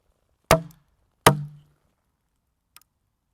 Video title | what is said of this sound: Splitting Sweet Chestnut logs using wooden wedges. | a high pitched cracking noise ... and that's the sound of the wood fibers literally tearing apart